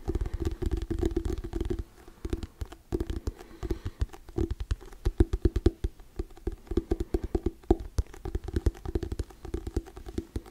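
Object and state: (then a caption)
Hardcover paper book. Fingernails tap and scratch quickly on the cover of a hardcover paper book held right against the mic. The result is a dense run of short, dull, low thumps with brief scratchy rustles in between, rising into sharper bursts toward the end.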